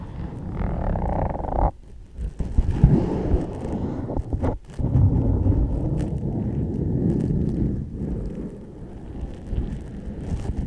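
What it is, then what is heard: Leather ankle boot scratched and tapped with nails. Long nails tap and scratch along the leather shaft of an empty, hollow black leather ankle boot held upright. The result is a dull, low-pitched scraping with soft taps mixed in, with brief gaps near 2 and 4.5 seconds.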